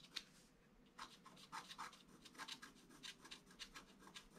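A wooden stylus scratches fine lines into a flat black-coated scratch-art card, working on the flower and the figure. About fourteen short, quiet, bright scratching strokes come in quick bursts with a soft pause near the start, each dry and gone almost at once.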